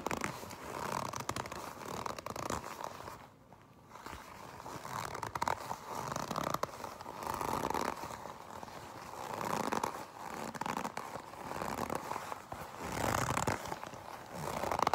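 Long pink nails grip, stretch and scratch the sleeve and body of a black leather jacket. The result is a steady, dry, rasping scrape with creaky, zipper-like friction, centered in the midrange, with a brief quiet pause near the start.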